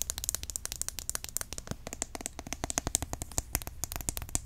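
A green, opaque plastic roll-on deodorant bottle, hollow and partly filled, is held in the hand and tapped quickly with long nails. The result is a rapid, uneven stream of short, dry, bright clicks that stop almost instantly, over a steady low hum.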